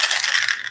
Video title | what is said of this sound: Myth vs. Facts about the Missouri Poison Center | this is a rattle y'all